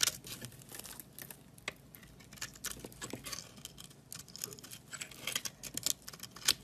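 A box-cutter blade scrapes powdery flakes off the surface of a solid white bar of soap held in the hand. The sound is a quiet string of dry, bright, crinkly scraping strokes with sharp little peaks and almost no low end.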